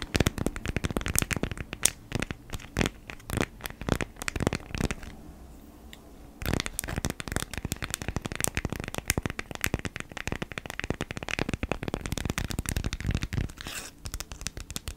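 A folded beeswax-coated cotton food wrap, held in both hands, is scratched and crinkled with long nails. The result is a dense run of sharp, dry crackles and scratches with bright edges and a soft low rustle underneath. A brief quieter stretch comes around the fifth to sixth second before the crinkling resumes.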